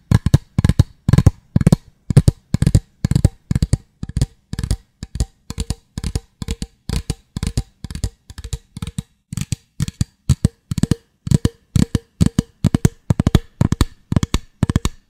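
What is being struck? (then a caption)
Plastic drink bottle. Long nails rapidly tap and scratch an empty, hollow clear plastic drink bottle held upright in both hands. The result is a steady stream of short, dull, low-pitched hollow knocks with very little ring, each followed by a faint scratch.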